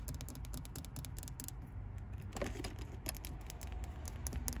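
A small, solid, round chrome metal manual gear shift knob with an engraved shift pattern, mounted on a leather-booted shifter, is tapped with long white acrylic nails and fingertips. Quick, bright clicking taps patter in rapid runs over a steady low rumble, each tap dying away almost instantly.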